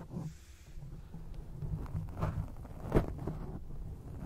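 Long acrylic nails scratch a grey foam microphone windscreen from both sides, making a soft, muffled, rumbling rustle that sits mostly in the low end. The scratching swells and fades in uneven strokes, with one sharper, louder scrape near the end before it settles back to a low crackle.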